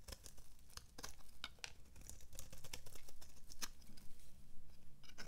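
A flat metal blade scrapes thin shavings from the flat face of a dry, solid purple oval bar of soap held in one hand. Quick, irregular dry scrapes and crumbly crackles come in bright bursts over a low, steady rumble.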